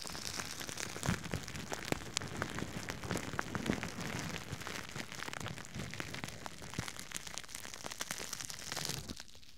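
A thin, empty, soft red plastic bag is held in one hand beside a binaural microphone and crinkled and rubbed by the fingers. The sound is a steady, dense crinkling full of sharp, bright crackles over a soft rustling bed. It fades to a quieter hiss in the final moment.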